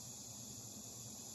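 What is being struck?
Nothing is struck.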